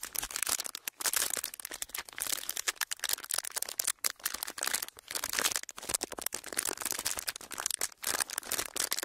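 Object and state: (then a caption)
Clear ridged plastic packaging being crinkled. Flattened clear ridged plastic packaging is pressed and crinkled under fingertips, producing dense, bright crackling with almost no low end. The crinkles come in busy bursts broken by brief quiet gaps, each crackle short and dry with no ring.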